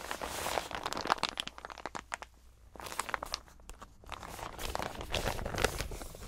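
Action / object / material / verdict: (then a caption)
scrape / plastic zip-lock bag / plastic / none. A large clear plastic zip-lock bag, empty or holding only a thin printed sheet, is crinkled and rubbed by bare fingers and its zip edge is pulled. Dense, bright crinkling and sharp crackles fill the clip, thin out into a quieter, sparser stretch in the middle, then build back into steady crinkling toward the end.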